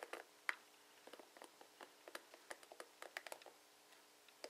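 Fingertips and nails strum across the plastic pins of a plastic paddle hairbrush with bristles, viewed from the side. About sixteen quiet, quick, dry clicks and taps scatter unevenly, bright and centered around 2 kHz with no low end. Each one stops almost instantly.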